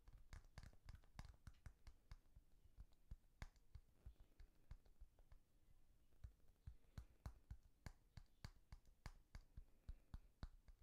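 A small, hollow, orange-yellow translucent plastic pop-button fidget toy, a bar with a row of round press-in domes, is held in the hands while fingertips and nails press and click the domes and tap its surface. The result is a quiet, rapid, irregular series of short, sharp clicks and taps with a soft low thud beneath and brief bright edges that die away almost instantly.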